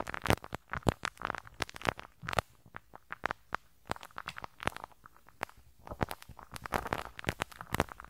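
A pink rubber-bristle brush scratches and rubs the small hollow metal mesh grille over the right capsule of a handheld stereo recorder. It makes a rapid, uneven run of sharp crackling snaps and soft muffled scuffs. Some strokes burst bright and loud, while others fade into quiet rustling between clusters.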